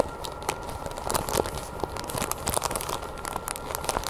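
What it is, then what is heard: Plastic-wrapped package. Long painted nails scratch and squeeze the clear crinkly plastic wrap of a small package with a green cardboard header, held in the hands. Close, dry crinkling is broken by a rapid run of sharp, bright crackles and scratchy ticks, over a faint steady tone and low background rumble.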